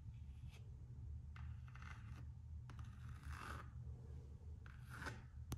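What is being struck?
Coated canvas and rubber slide sandal.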